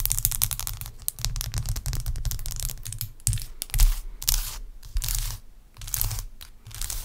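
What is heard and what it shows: A large, clear, solid block of ice with a cloudy core is tapped and scratched with long acrylic nails. A dense run of quick clicks and scraping, tearing strokes mixes bright crackle with a deep low rumble, fading briefly in pauses before resuming.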